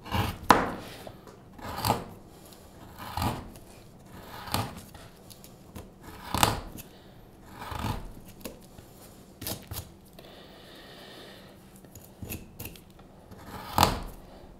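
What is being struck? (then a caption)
Wooden spoon blank, light wood, carved with a steel knife. A steel carving knife, held in one hand, scrapes and cuts the bowl of a hand-sized solid light-wood spoon blank (likely basswood) held in the other gloved hand, as curls of shavings fall onto a cutting mat. Eleven short, irregular scraping strokes are heard, each a brief dry rasp with a bright edge and almost no ring, separated by quiet pauses.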